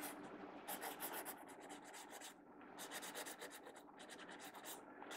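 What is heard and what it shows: A blue mechanical pencil draws on the right-hand page of an open paper sketchbook lying flat on a wooden table, its graphite tip scratching across the paper. Quiet, bright, papery strokes come in quick rasping bursts separated by brief pauses.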